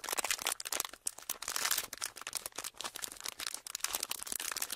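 A small, folded, thin clear plastic sheet, empty and held in both hands, is squeezed, crinkled and rubbed with the fingertips. A dense stream of bright, crisp crackles and crinkles follows, with almost no low end. Short bursts rise and fall with only brief dips between them.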